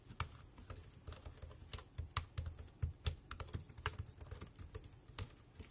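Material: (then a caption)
Plastic. Fingertips type on the keys of a dark grey, compact plastic wireless keyboard. The result is a steady run of quick, short clicks, each with a soft low thump beneath a bright, crisp tap that dies away almost instantly.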